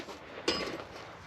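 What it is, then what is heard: Exhaust silencer with no loose baffles. A cracked metal exhaust silencer, removed from the vehicle, is shaken to check for loose internal baffles. One short metallic knock is heard, with a brief high ring over faint background noise. Nothing rattles inside, so the baffles are not loose, and the crack is to be welded and the silencer refitted.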